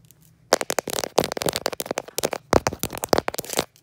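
Long pointed blue acrylic nails tap and scratch a polished, dark speckled granite countertop, a solid slab. After a brief quiet moment, a rapid run of short, dry clicks and crackly scratches with a mid-range tone and bright edges continues until just before the end.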